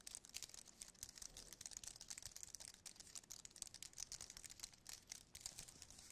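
Fingertips tap rapidly on the keys of a slim white aluminium and plastic wireless keyboard held in the hand. The result is a quiet, dense stream of light, bright, clicky taps with very little low end, each dying away almost instantly.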